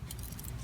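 The old A/C blower motor resistor module, removed from a 2005 Chevy Suburban, is shaken by hand, producing a faint, quick rattle over a low steady rumble. The rattle shows that something inside the module has come loose. The part also has melted connector plastic and is being replaced with a new one.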